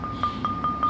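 A footed ceramic flower pot is tapped four times to show it is not cracked, each tap giving a clear, bright ringing ping near 1.2 kHz that fades quickly. The clean ring indicates the pot is sound, with no cracks.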